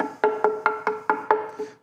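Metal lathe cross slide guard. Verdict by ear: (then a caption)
Solid. A series of quick knocks on the finished metal cross slide guard of a Monarch lathe, which sits with a ten-thousandths gap over the ways. Each knock gives a short, hollow, wood-block-like tone centred near 430 Hz that dies away quickly. The hollow sound comes from that small gap underneath, but the guard is solid, weighing over ten pounds, so it will not bend easily.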